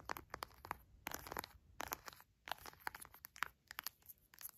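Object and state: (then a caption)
Plastic honey pouch. A full orange plastic pouch of honey is pressed and rubbed by fingers while long nails tap and scratch the plastic. Quiet, sharp clicking taps come in quick irregular bursts, mixed with crinkly, bright scratching and squeezing. There is no ring after each tap.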